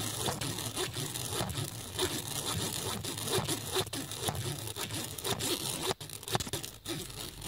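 A USB cable plug is dragged in quick scratching strokes across the flat woven surface of a black nylon fabric bag, with a phone lying nearby untouched. The result is a steady, dense rasping scrape with bright, hissy texture and a low rumble underneath, broken by brief dips between strokes.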